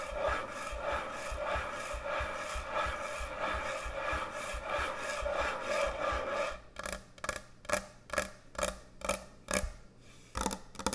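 Long nails scratch a large, thick, solid wooden end-grain butcher block cutting board, starting as about six and a half seconds of steady, grainy rasping with a midrange hum around 600 Hz. The scratching then breaks into nine separate short strokes with brief quiet gaps between them.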